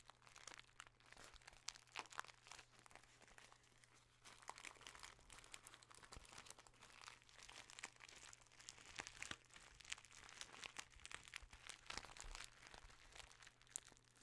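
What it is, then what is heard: Kraft paper bag. A small brown kraft paper bag with a label is crinkled and squeezed between the fingers. The result is a quiet, continuous stream of dry, bright crackles and crunches, with sharper pops scattered throughout and a faint steady low hum underneath.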